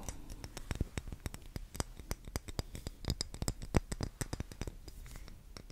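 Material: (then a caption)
Wax. An unlit, solid pink cylindrical wax pillar candle is held in the hands and tapped and scratched with long green-painted nails. The result is a quick, uneven series of short, dull clicks and taps with light scratching, mostly low and soft with brief bright edges on each contact.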